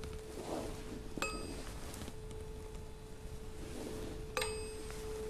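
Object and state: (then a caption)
Steel tuning fork. A small solid steel tuning fork, held by hand over the open top of a tall glass resonance tube, is tapped twice with a striker held in the other hand. Each tap gives a bright metallic ping with short high overtones over a steady pure tone near 440 Hz that sustains between and after the strikes. The air column in the tube may reinforce the tone.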